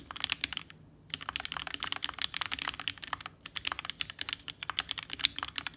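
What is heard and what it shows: A red ergonomic TGR Alice-layout mechanical keyboard with vintage black switches, an aluminum case and plate, and pink and white plastic keycaps sits on a desk mat and is typed on rapidly with the fingertips of both hands. A quick stream of short, bright, crisp key taps with almost no ring fills the clip, broken only by a brief pause just before the first second.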